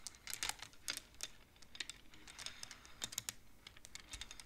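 A large wooden-framed abacus with colored wooden beads on metal rods is played with both hands, the fingertips and nails pushing the beads along. The result is a quiet, uneven run of short, bright wooden clacks and clicks that die away almost at once.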